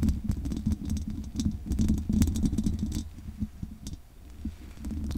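Long nails scratch and tap the bare metal mesh grille of a condenser microphone with a hollow head. Dense, irregular scratching and clicking is heard, with a strong low boom under bright, sharp taps.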